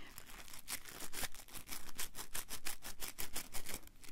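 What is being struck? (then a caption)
Small soft foam piece. A small, soft blue foam piece held in both hands is squeezed and rubbed with fingertips and short nails. It gives a quiet run of short, scratchy, crinkling bursts, each bright and brief, arriving at an uneven pace over a low soft rumble.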